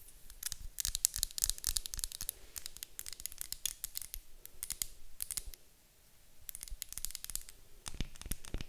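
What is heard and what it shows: Long acrylic nails tap and scratch the sides of a medium white glass candle jar with a gold lid, apparently filled with wax. Quick, bright clicking taps mix with dry scratchy bursts in rapid clusters, with a brief quiet pause about two-thirds through before the tapping picks up again.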